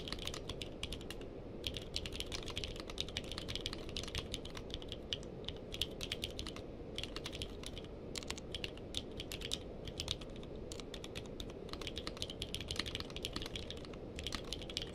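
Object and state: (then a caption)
Mechanical keyboard with plastic keycaps. Two hands type steadily with the fingertips on a purple-cased mechanical keyboard with plastic keycaps. The result is a fast, continuous stream of short, bright plastic clacks that stop almost instantly, over a low, steady hum.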